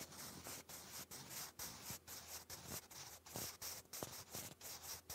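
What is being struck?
Graphite pencil on grey lined cardstock.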